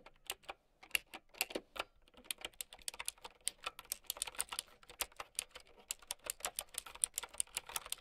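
Long nails type quickly on a plastic mechanical keyboard with round keycaps. A quiet, steady stream of sharp, bright clicks comes at an irregular rhythm, each one very short with almost no low end or ring.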